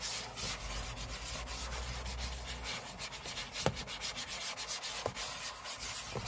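Short fingernails on both hands scratch the aluminium lid of a closed space-grey MacBook lying flat on a table. The result is a steady, bright, dry rasp with a faint low rumble under the first few seconds. A few sharper clicks stand out later in the clip.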